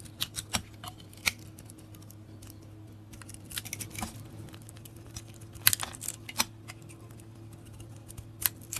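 A handheld bar of dry yellow soap with a blue and green glitter coating is scraped and shaved with a metal blade, producing crumbly curls. Sharp, bright scraping clicks and short crackles come at an irregular pace over a quiet, steady low hum.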